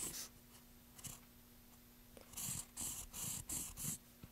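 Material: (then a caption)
Wood. A pencil scratches and writes in short strokes across the bare surface of a solid, pale, light wooden plank. Quiet, bright, hissy scrapes come in bursts, sparse at first and then in a quicker run near the end, over a faint steady low hum.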